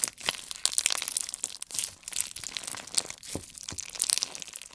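A solid handful of clear slime packed with colored beads is pressed and squeezed between the fingertips and thumbs of both hands. The result is a dense run of bright, crisp crunching and crackling pops with almost no low end, each snap dying away instantly.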